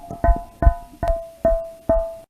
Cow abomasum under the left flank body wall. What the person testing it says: sus paredes se adelgazan y la presencia de gas y líquido va a ocasionar que se haga así de aguda